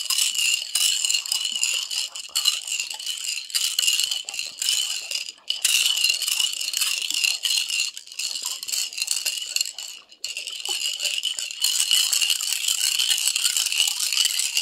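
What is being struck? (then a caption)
Glass bottle holding glass marbles and water. A small clear glass bottle with a gold metal screw cap, holding colorful glass marbles and some water, is held in one hand over a carpet and shaken or rolled so the marbles rattle against the glass. The result is a dense, continuous, bright clattering of quick glassy clicks with a ringing tone near 2.9 kHz, with brief dips around 5.5 and 10 seconds before the rattling resumes.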